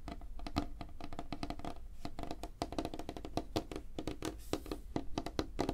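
Fingertips and nails tap fast on a flat, solid, light wooden tabletop. The result is a steady stream of quick, dry wooden knocks with a low hollow tone near 290 Hz, mixed with sharper nail clicks. Each tap dies away almost at once.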